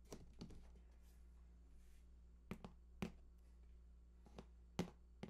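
Fingertips tap and scratch the bottom edge and seam of a large, hollow cardboard PS4 console box lying on its side. Short, dull thunks with quick clicky attacks come at irregular intervals over a steady low hum. Faint papery scratching fills the gaps, and each hit dies away almost at once.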